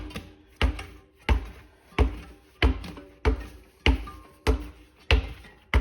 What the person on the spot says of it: when I bounce it like this, I could not just hear it sloshing, but I could actually sort of feel it sloshing too